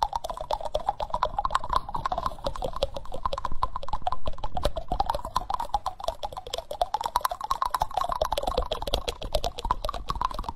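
Fingertips and nails rapidly tap and scratch the bowl of a solid, reddish-brown wooden spoon held close to the microphone. The result is a dense, irregular stream of quick, dry clicks and scrapes with a mid-range woody tone near 1 kHz and almost no ring.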